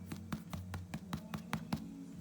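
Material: Bread crust.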